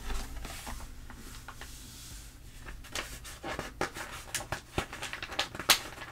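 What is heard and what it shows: Fingertips and long nails rub and pat across the spread pages of an open glossy paper trade magazine, and a page is turned. A soft, bright papery hiss of rubbing gives way to sharper crisp pats and crackles, ending in a louder rustle as the page turns.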